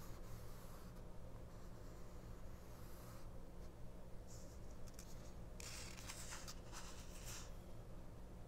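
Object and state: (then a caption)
Paper booklet. Long nails and fingertips tap and scratch across the text and a car ad on a small, open 1999 paperback mini-book whose paper pages lie flat on a fabric cloth, staying on the same spread throughout. Soft, dry scratching rises into brighter, papery bursts in the second half over a steady low hum, at a quiet level.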